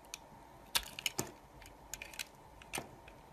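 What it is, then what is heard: Soap bar being carved. A utility knife blade shaves and cuts thin slices from a solid pink soap bar held in a hand with long dark nails. Short, sharp, bright crackling snaps come in irregular clusters over a faint steady hiss, each dying away almost instantly.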